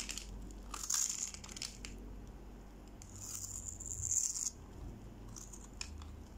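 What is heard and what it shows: A small metal knife blade cuts cubes from the grid-scored face of a solid, pale yellow, hand-sized bar of dry soap held in one hand, above a pile of soap shavings. Bright, crisp crackling and crumbly scraping come in bursts, loudest around the first second and again from about three to four and a half seconds, with a high hiss over a faint low rumble.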